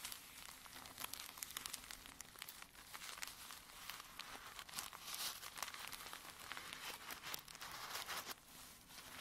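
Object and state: Paper tea sachet.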